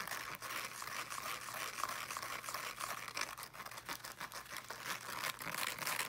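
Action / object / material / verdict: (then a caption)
scrape / small speaker with fabric mesh cover / fabric mesh / none. Fingernails scratch quickly across the fabric mesh of a small teal fabric-covered speaker held in both hands. The result is a dense, continuous, bright raspy scratching with rapid, uneven strokes and little low end.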